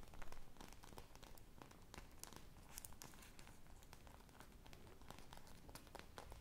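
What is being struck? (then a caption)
Polyurethane foam squishy toy. A single teal-glazed polyurethane foam ice-cream pop squishy with colorful sprinkles, made of solid foam, is held up close while it is scratched and tapped with long mauve nails and fingertips and squeezed. The result is a quiet, steady stream of dry, crinkly scratches and short bright ticks over a soft low rumble, each sound dying away almost at once.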